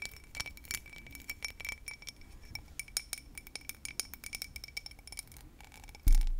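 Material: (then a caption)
Crystal glass. A small, hollow, empty cut crystal whiskey tumbler, held in both hands, is tapped and scratched with long nails across its cut pattern. The result is a fast run of crisp, clicky taps and scratchy ticks with a faint bright glassy ring. It ends with a sudden louder low rumble in the last half second.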